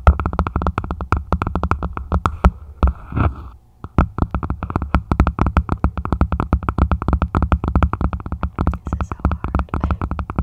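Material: Plastic.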